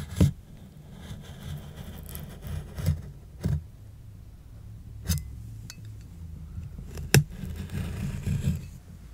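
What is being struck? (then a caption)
Corrugated cardboard box. Fingertips and long, dark-painted nails tap and scratch the lid of a large, flat, hollow brown corrugated cardboard shipping box lying on carpet. Six dull, low thumps stand out, each with a brief bright click, over a steady soft scraping rustle.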